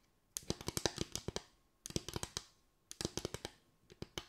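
A bamboo tray is tapped with the fingertips in three quick bursts of about 21 short, dry taps. Each tap gives a hollow woody knock with a bright clicky edge that dies away almost at once, with brief silences between the bursts.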